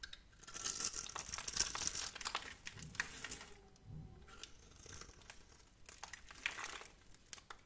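A metal blade scrapes and carves flakes off a solid, palm-sized purple bar of soap with white stripes held in one hand. Dry, crinkly scraping and crunching comes in irregular bright bursts with little low end, fading between strokes before picking up again.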